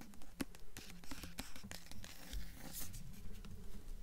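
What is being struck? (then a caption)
Hardcover book with paper dust jacket. Long nails tap and scratch the paper dust jacket of a blue hardcover book tilted on its side. Quick, fairly steady soft taps mix with dry, bright scratching rustles over a low, muffled thump.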